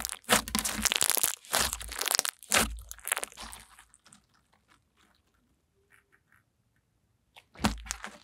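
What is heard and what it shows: Pink fluffy slime with a whipped texture is pressed with fingers, squeezed in the hands and stretched upward. Dense, bright crackling and crunchy popping bursts come in clusters through the first four seconds, then trail off into sparse faint snaps and near silence before a final loud crackling squeeze near the end.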